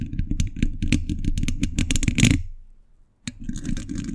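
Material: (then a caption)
Steel mesh. Metal thimbles on the fingertips tap fast on a hollow steel mesh microphone grille, making rapid, uneven clicks with a deep, boomy thump under each one and a bright metallic edge on top. The tapping stops into near silence for about half a second, then resumes as quieter, scratchier taps.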